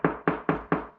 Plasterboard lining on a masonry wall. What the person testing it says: là je sais qu'on est sur un mur porteur, et pourtant, écoutez, d'accord? Ça sonne creux encore